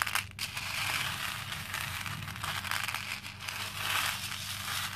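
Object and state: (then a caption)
Plastic pearl beads stirred in a plastic bowl. A hand stirs and then pats with the fingertips through a pink plastic bowl full of small cream plastic faux pearl beads. The beads give a dense, continuous, bright crackling rustle with quick clicks that swell and ease slightly, over a faint low hum.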